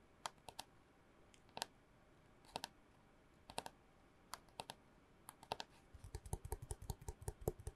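Long nails tap on a long, hollow brown cardboard mailing tube with bits of red tape, held upright. There are 26 short, dry clicks with a faint hollow ring around 430 Hz: a few scattered taps at first, then a quicker, irregular run near the end with more low thump.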